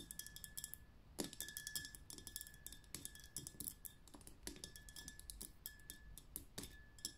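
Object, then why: Liquid-filled glass glitter lamp. Long painted nails tap and flutter quickly on a tall, tapered glitter lamp, a glass vessel full of liquid and glitter on a dark base. The result is a quiet, dense stream of bright, crisp glassy clicks and ticks that die away almost instantly, with a faint steady high tone underneath.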